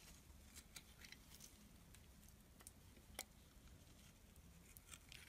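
A utility knife blade scrapes and cuts brittle flakes from a small, solid black and white striped bar of soap held in the hand. Quiet, bright, crisp scratches and ticks come in short separate bursts over a low, steady background rumble, with one sharper snap near the middle.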